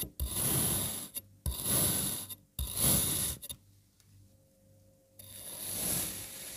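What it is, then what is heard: Kinetic sand block being sliced. A serrated, speckled knife slices repeatedly through a palm-sized solid block of red kinetic sand molded into jigsaw pieces on a white surface. Four long, crunchy, grainy rasping cuts, bright up into the highs, are separated by brief quiet pauses, with a longer lull before the last stroke.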